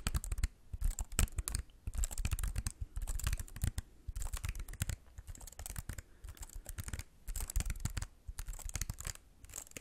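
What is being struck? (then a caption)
Computer keyboard with plastic keys. A slim white computer keyboard with plastic keys is held up and tilted toward the mic while fingertips tap the keys. Quick, dry plastic clicks with soft low thumps come in dense bursts separated by brief pauses, each tap dying away almost at once.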